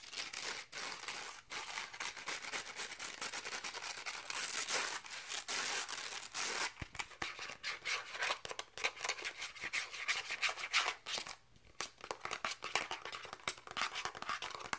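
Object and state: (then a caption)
Plastic catch paddle back. Fingertips and nails rapidly tap and scratch the hard pink plastic back of a toy catch paddle, a thin, shallow, hollow-backed disc held edge-on and turned to show its back and rim. The result is a dense, continuous stream of bright, crisp clicks and scratchy rasps with almost no low end, pausing briefly near the end before resuming.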